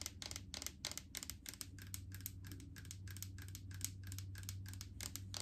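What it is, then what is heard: Plastic jar full of solid coconut oil. Long acrylic nails tap rapidly on a large plastic jar full of solid coconut oil with a green plastic lid. The taps are quick, dry, bright clicks with a short ring, in an uneven rhythm over a steady low hum.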